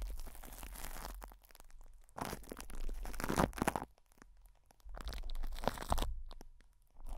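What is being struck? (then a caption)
Cling film over a metal mesh microphone head. Fingertips and short nails scratch and rub crinkly cling film wrapped over a hollow metal mesh microphone head. Bursts of close, dense crackling and crumpling texture alternate with brief quieter pauses, with a deep low rumble under the bright crinkle.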